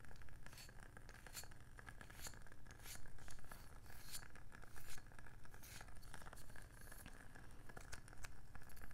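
A palm-sized round wooden candle lid, turned over to show its dark underside, is tapped with long nails and fingertips. Quick, dry, bright clicks sound in an irregular stream over a steady low rumble, each tap dying away almost at once.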